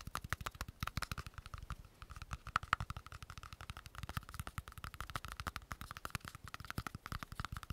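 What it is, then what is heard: Plastic cream jar. A small round, hollow green plastic cosmetic cream jar with a screw lid is rapidly tapped and scratched with long nails while its lid is handled. The result is a dense stream of fast, dry clicks and taps with a steady tone near 1.3 kHz and a low thump beneath each hit.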